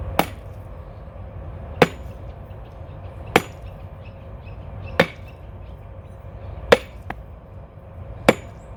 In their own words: just before your coconut is about to crack the sound when you tap it changes and begins to sound more hollow